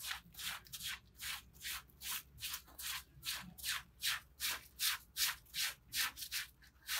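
A gloved hand scrubs a small, soaked, soapy red patterned pile rug with fringe, lying flat on wet concrete, using a green plastic bristle brush. The brush moves back and forth in 17 steady, bright, hissy scratching strokes, about two or three per second. Each rub swells and fades quickly, with almost no low end.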